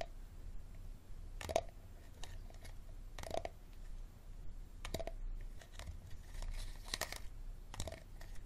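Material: Plastic.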